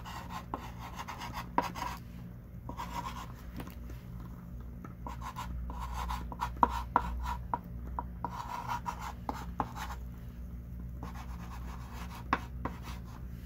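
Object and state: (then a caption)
Chalk writing on a chalkboard. A hand writes with a thick pink chalk stick on a small wooden-framed chalkboard lying flat. Soft, scratchy strokes come in bursts, punctuated by sharp taps as the chalk strikes the board, over a steady low hum.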